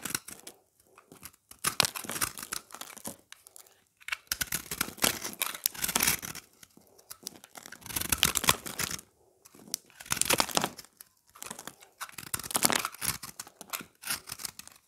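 A palm-sized solid oval slab of pressed, multicolored dry recycled soap is held in hand and scraped and shaved with a utility knife blade. The bursts of dry, bright scraping and crumbling come in repeated passes separated by short pauses, as flakes crumble off.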